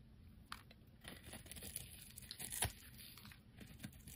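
A solid, hand-sized oval red soap bar is held in the fingers and scraped and carved with a metal utility blade, shavings crumbling off. Quiet, dry scraping and crisp tearing crackles sound in short, bright strokes, with a few sharper cuts standing out over a soft, low rustle.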